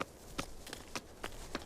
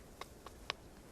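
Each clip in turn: First: hollow spot in sandstone rock face. Second: solid sandstone rock face.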